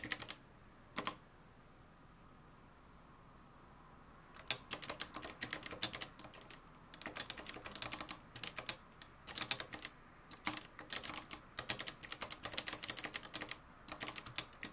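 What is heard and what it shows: Fingertips type on the dark plastic keys of a mustard-yellow, plastic-cased manual typewriter with a metal mechanism. A couple of isolated keystrokes open the clip, followed by a few seconds of quiet. Then comes continuous, rapid typing: a dense run of sharp, bright, dry clicks with only brief pauses between bursts.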